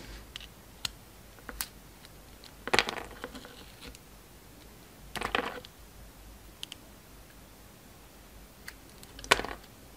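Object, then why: Bar of soap cut with a knife blade. A solid tree-shaped green bar of soap with a purple glitter coating is held in the hand and sliced and carved with a utility knife blade. Quiet, crisp scraping cuts come in three short bright bursts, with faint clicks and ticks scattered between them against a low, steady background hiss.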